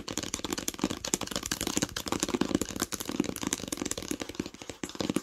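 Long pink nails tap and lightly scratch the cover of a solid green cloth-covered hardcover book lying flat. The result is a rapid, steady stream of short, dry taps with a muted mid-pitched knock, mixed with soft, bright scratching. The taps stop almost instantly, with no ring.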